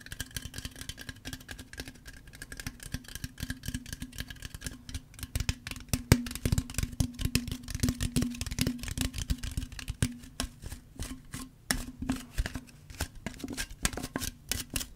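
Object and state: Aluminum tea can.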